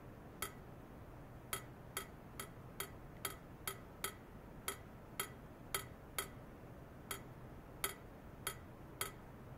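A long, hollow stainless steel pipe, about 3–4 cm across, rests horizontally in white foam-net sleeves on clamp stands. A hand taps it repeatedly with a thin metal ultrasonic probe rod, producing 16 short, bright metallic ticks. Each tick rings near 1.3 kHz and fades quickly over a low, steady background hum.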